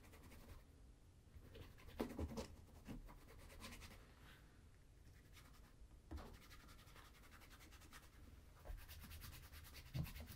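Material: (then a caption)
Leather. A brown leather Crockett and Jones Coniston ankle boot, hollow with a shoe tree inside and resting on a table, is rubbed and massaged with bare fingertips and palm during a shoe shine. Soft, low, scratchy rubbing and brushing sounds continue throughout, with a few louder scuffing bursts standing out from the quiet, steady friction.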